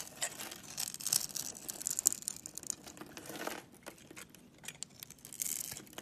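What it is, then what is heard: Bar of soap being carved. A utility knife blade carves and scrapes a solid orange Camay soap bar held in the palm, shaving it into small curls and chips. The sound is quiet, bright, crisp scraping and crinkling in irregular bursts, with sharp clicking high-end detail and almost no low end.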